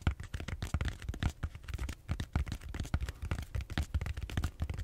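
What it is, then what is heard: Styrofoam foam roller. Fingernails scratch and tap the surface of a large purple bead-foam styrofoam roller held horizontally. A rapid, irregular run of short, dry taps and scrapes is heard, heavy in low thumping tones with broadband crackle reaching up to bright highs, each hit dying away almost instantly.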